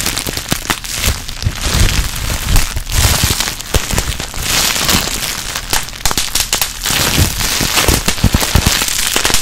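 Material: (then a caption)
Plastic. A small crumpled piece of clear plastic air-bubble wrap is held close to the mic while fingers and long nails squeeze and pop its bubbles. The result is a dense, continuous run of sharp snaps and crackles over bright plastic crinkling, with low, close-up thumps beneath.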